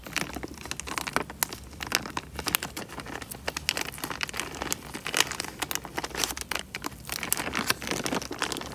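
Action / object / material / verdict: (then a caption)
scrape / thin plastic bag filled with water / plastic / none. Fingertips crumple and squeeze a small, clear, thin plastic bag full of water, making a steady stream of dense, bright crinkles and sharp crackles with soft sloshing underneath. The snaps are short and dry with almost no ring, rising in louder bursts throughout over a faint low hum.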